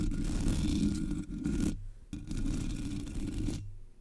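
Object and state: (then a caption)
Metal mesh microphone grille being scratched. Long nails scratch the top and sides of a Blue Yeti microphone's black, hollow metal mesh grille. Two sustained, gritty rasping passes are heard, separated by a brief pause; each is heavy in low rumble with a faint bright scratchy hiss on top.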